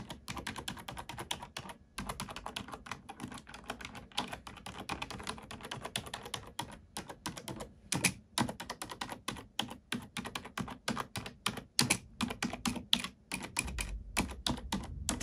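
Single keys on a black plastic computer keyboard are pressed with an index fingertip and nail in a steady tapping, typing rhythm. Each press gives a short, dry, bright click that dies away almost at once, with brief pauses between bursts and a faint low thump under some strokes.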